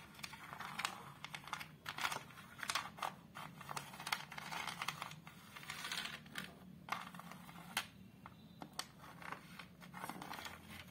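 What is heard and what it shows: Long colourful acrylic nails tap and scratch on the flat glass front of a large framed picture, near its ornate dark wooden border. Quick, dry clicks mix with bright scratching swipes, each sound dying away almost at once at a low level.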